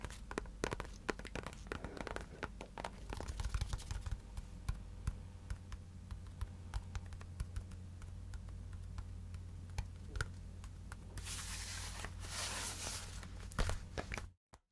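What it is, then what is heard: Synthetic leather soccer ball. A full-size, hollow, inflated synthetic leather soccer ball with white and black panels is tapped with long nails and fingertips, giving rapid sharp clicks and soft thuds over a steady low hum. Near the end, the ball is spun in the hand, producing a brighter, brushing swish before the sound cuts off.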